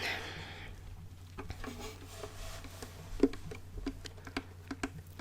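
A wooden violin is tapped lightly on its body, giving a scattered series of soft, dry knocks with a low wooden tone and very little ring. A faint rustle opens the clip, and a steady low hum runs underneath.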